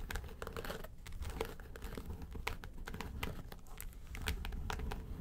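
Long nails scratch the lid of a flat, hollow yellow case covered in textured faux leather. The result is a steady, dense crinkly scratching with many quick bright ticks over a soft low rumble from the hollow body, each sound dying away almost at once.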